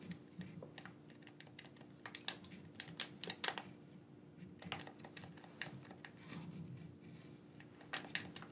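Thumbs press the buttons of a black, wired, hand-sized hollow plastic gamepad held in both hands. The result is an irregular run of quick, bright plastic clicks and taps, some louder and sharper than others, over a faint steady low hum.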